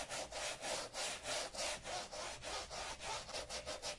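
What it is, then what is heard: Leather boat shoe being brushed. A wooden-backed bristle brush scrubs saddle soap foam into an empty brown leather Sperry Top-Sider boat shoe with a white sole, resting on a black towel, before a microfiber cloth in a gloved hand wipes it. Quick, steady back-and-forth strokes, about three per second, make a bright, hissy, scratchy rubbing with little low end.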